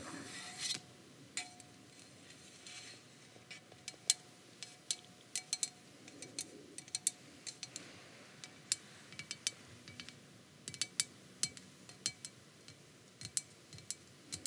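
A tall grey aluminium aerosol can of dry texture hair spray with a white plastic cap, hollow and pressurised, is held in one hand and tapped along its body with long acrylic nails. The taps come as dozens of quiet, bright, clicky ticks with very short ring, spaced irregularly over a faint hiss.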